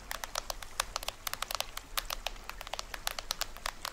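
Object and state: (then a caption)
Plastic toy drum head. Fingernails scratch and tap near the lower edge of the printed plastic head of a small hollow toy drum. About 25 quick, dry, bright clicks and scratches come in an irregular patter, each dying away almost at once, over a faint low hum.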